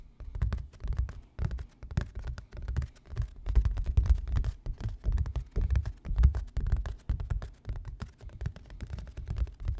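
A medium stretched canvas bearing an orange-yellow painting, a thin fabric panel over a hollow-backed wooden stretcher frame, is held in one hand and tapped with the fingertips of the other. The result is a rapid, irregular patter of soft, dull, low thumps with almost all their energy below 200 Hz. Each tap dies away almost instantly.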